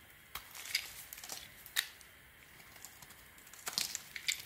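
A small metal blade, held in a hand with a gauze-wrapped fingertip, scrapes and cuts curling shavings off the edge of a solid oval bar of light blue soap with blue swirls held in the other hand. The carving makes crisp, bright, crackly scraping bursts with almost no low end, separated by quiet pauses.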